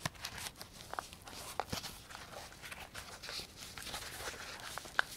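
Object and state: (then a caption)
Nylon velcro pouch. A small black nylon fabric belt pouch, a Pocket Radar case with a velcro flap, hollow and holding a device, is held in both hands while fingertips tap, scratch and work the flap. Soft, dry taps and rustling scratches run throughout with brief bright crackles of velcro, plus sharper clicks near the start and end. Each sound stops dead with no ring.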